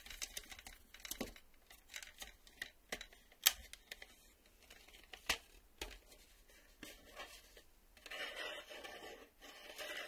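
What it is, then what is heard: Plastic VHS video cassette. A black plastic VHS tape cassette with a hollow shell and clear reel windows is held in both hands and tapped and scratched along its edges and face with fingertips and nails, while its cardboard sleeve lies untouched nearby. Sharp, bright, short clicks and taps come at an irregular pace, with one loud knock near 3.5 seconds. They give way near the end to a softer, sustained scraping hiss.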